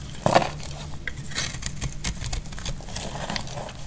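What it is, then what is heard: Dry soap bar being scraped. A utility knife blade scrapes and cuts flakes off the edge of a solid cream dry laundry soap bar held in hand. A sharp, crisp crack comes early, followed by a steady run of dry, scratchy shaving and crackling strokes with a low rumble beneath.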